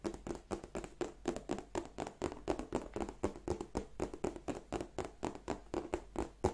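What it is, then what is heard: Croc-embossed leather handbag. Long nails tap and scratch across the textured scales on the flap and front panel of a black glossy croc-embossed leather handbag. A quick, fairly steady run of short, dry clicks comes at about four per second, each with a soft scratchy edge and a low, hollow tone around 370 Hz.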